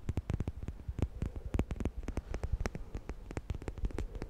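A black plastic comb with a handle is held in one hand while fingernails scratch and flick rapidly along its teeth. The result is a dense, uneven run of short, dry clicks and flicks that stop almost at once, with a soft low thump under bright, crisp edges.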